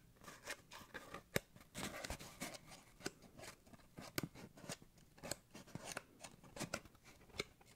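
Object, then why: Cardboard paper towel tube. An empty, hollow, long brown cardboard paper towel tube is held in the hand and scratched and rubbed with fingertips and nails. The result is a dry, scratchy rustle broken by a series of sharp, bright clicks that stop almost instantly.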